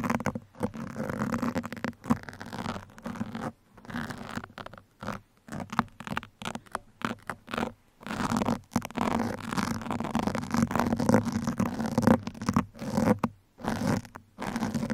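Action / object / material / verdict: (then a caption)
scrape / foam microphone windscreen / foam / none. Two hands each hold a thin metal pin and scratch and poke it into the soft, porous black foam windscreen of a microphone. Dense, muffled scratching and crackling comes in irregular bursts with brief silent gaps, weighted toward a low-mid tone with little high-end brightness.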